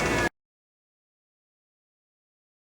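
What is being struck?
Nothing is struck.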